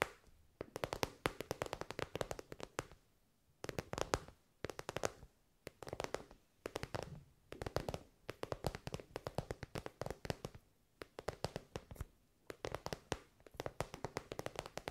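Long white nails tap and scratch an elongated soft pencil case covered in shiny metallic pink synthetic fabric. Rapid bursts of short, dry clicks and crinkly scratches come in clusters separated by brief quiet pauses, with a faint body around 430 Hz. Each tap dies away almost instantly.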